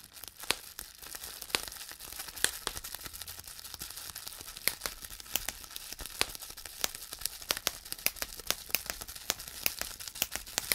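Hollow air bubbles in a clear plastic bubble wrap sheet are pinched and popped with fingertips and thumbnails. Dozens of sharp, bright pops snap out irregularly over a steady crinkling, rustling plastic hiss. There is almost no low end, and each pop dies away instantly.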